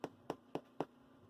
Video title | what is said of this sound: Making Sourdough Bread | if you tap on it it should sound kind of hollow